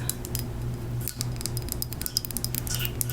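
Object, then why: Small ceramic moth figurine. A small handmade ceramic death's head moth figurine is tapped with fingernails in quick, irregular taps. Each tap is a bright, clinking, glassy tick that stops almost at once with no ring, over a steady low hum.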